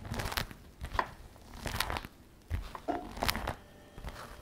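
Fingertips and long nails tap and rub across the flap of a glossy black patent faux leather messenger shoulder bag lying flat. Soft, crinkly taps and squeaky rubbing strokes come in irregular bursts, with quiet gaps between them. Each touch has a bright, short edge that fades almost at once.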